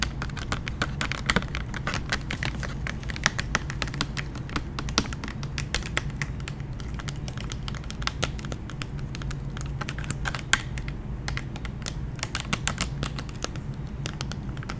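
Long painted nails tap rapidly on the clear plastic blister shell of a pack holding a large gummy bear lollipop on a cardboard card. The result is a dense, continuous stream of sharp, clicky taps that die away almost instantly, over a steady low hum.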